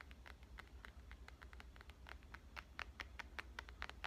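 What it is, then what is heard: Smartphone glass screen tapped with fingernails. Dark-painted fingernails tap and scratch the glass screen of a black smartphone held in one hand. Quick, sharp clicks with a bright, high ring come in an uneven stream over soft scratching and a steady low hum.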